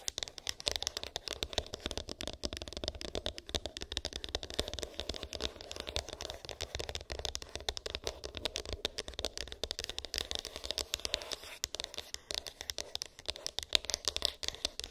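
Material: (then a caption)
Cardboard. Long pink acrylic nails tap and scratch a small, hollow white cardboard iPhone box with an embossed, textured lid; its contents are unknown. The result is a steady, quiet stream of rapid, dry clicks and scratchy rasps, bright and crisp, with each tap dying away almost instantly.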